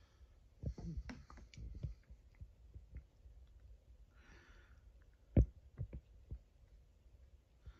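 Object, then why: Plastic juice bottle. Fingertips tap and rub the plastic label of a full 1 L plastic Frooti bottle. Soft, dull, low taps land at irregular intervals, with one sharper, louder tap about two-thirds of the way through. Patches of faint brushing hiss from the rubbing fill the quiet gaps between taps.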